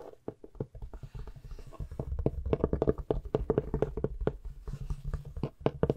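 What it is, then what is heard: Hardcover book. A large, thick, solid antique hardcover book with an embossed, patterned cover is tapped and scratched with long nails and fingertips while held close to the microphone. A rapid, uneven run of short, dry taps with a dull low thud and a faint woody tone dies away almost instantly, with soft scratching rustle between them.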